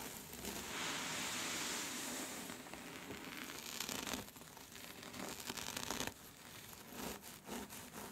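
Long red-orange nails scratch and rub a thin, smooth, silky black scarf with a white skull print, spread out and gathered into folds. A bright, airy rustling hiss runs steadily for about six seconds, then breaks into shorter, quieter scratchy bursts as the fabric bunches.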